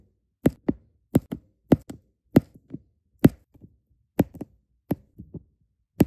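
Small solid resin diamond painting drills are placed onto an adhesive canvas with a plastic drill pen tip, producing repeated light taps. Each tap is a short, dry click with a low, dull body and almost no ring, often followed by one or two softer taps, with brief silences between the clusters.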